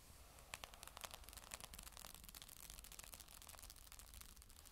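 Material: Magnesium.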